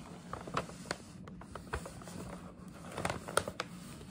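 Long nails tap, scratch and rub the front panel of a hollow printed paper gift bag with a scalloped rim. Sharp, dry taps stand out over a soft, papery scratching and crinkling, with a faint steady low hum underneath. Each tap dies away almost instantly, and the whole clip stays quiet and close.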